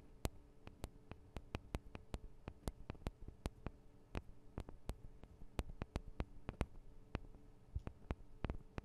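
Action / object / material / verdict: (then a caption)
tap / small metal microphone capsules on a handheld recorder / metal / none. Long acrylic nails tap and scratch on the two small cylindrical metal microphone capsules of a handheld Tascam DR-40 recorder. Quick, dry clicks sound in an uneven stream, each a sharp bright tick that dies away at once, over a low, steady hum.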